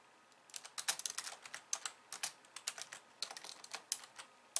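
Fast two-handed typing with long nails on a slim pink plastic computer keyboard with white keys. It gives a quick run of light, bright clicks and taps that stop sharply. Nothing sounds low or booming, and the clicks barely ring.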